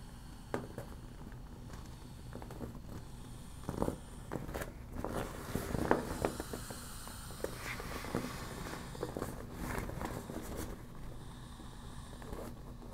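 A mostly deflated yellow smiley-face PVC vinyl beach ball is held in both hands and squeezed and scratched with long black nails. The thin vinyl gives soft, irregular crinkling and scraping, with occasional sharper ticks and a low, quiet rumble underneath.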